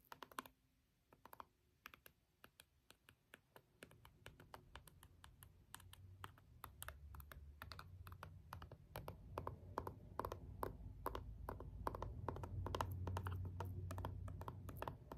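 A green jade stone face roller is rolled over and pressed down on a small, hollow plastic LED remote with rubbery push buttons, making the buttons click. Quick, dry, irregular clicks sound in a steady stream, over a low rolling rumble that grows louder as the clip goes on.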